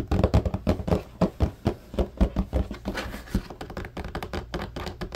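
Fingertips tap rapidly on the slotted grid bars of a large, empty blue plastic laundry basket, close up. Quick, uneven, hollow low thunks and light clicks die away almost at once, with very little bright content.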